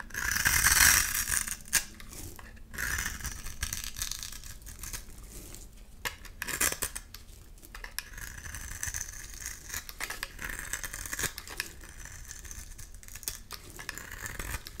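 A solid, palm-sized soap bar with red-pink and white stripes is held in the hand and scraped and shaved with a box-cutter blade. Dry, bright scraping and crisp cutting sounds come in quick, uneven strokes, loudest at the start. Striped shavings fall onto a pile of soap crumbs.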